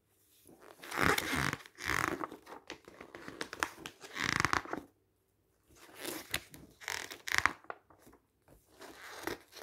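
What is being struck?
Glossy paper magazine.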